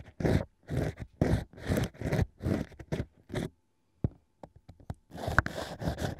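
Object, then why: Stack of drilled natural wine corks scratched with a bamboo ear pick. A bamboo ear pick held in the fingertips scratches inside the hole of a fake ear made from drilled natural cork wine corks. It makes a steady run of short, dry, crunchy scraping strokes, then a brief pause with a few light ticks. Then it returns to denser scratching.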